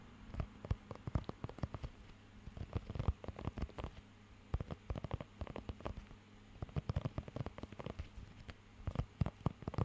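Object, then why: Rubber grooming glove with raised nubs. Fingertips scratch and tap across the raised nubs of a thin, flexible blue rubber pet hair grooming glove held close to the microphone. The result is a quiet, irregular patter of many short, dull taps and crackly scratches, heavy in the low end with little brightness, coming in clusters with brief pauses between them.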